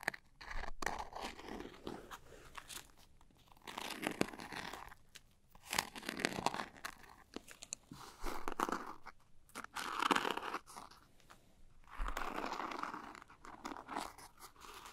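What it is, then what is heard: Glitter-coated makeup pouch. Long nails scratch and tap the sparkly surface of a small, closed, zippered glitter-coated makeup pouch. The result is crisp, crunchy scratching that comes in waves of rasping bursts, centered in the midrange around 1 kHz. Short, dry taps are scattered between the bursts.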